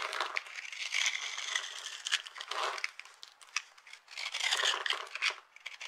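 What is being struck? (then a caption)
Bar of soap cut with a knife. A metal knife blade cuts and scrapes into the pre-scored surface of a solid, hand-sized rectangular bar of dry blue-and-white striped soap held in one hand, flaking off small crunchy cubes. Dense, dry crunching and crackling come in quick bursts and swells, bright and airy with no low end.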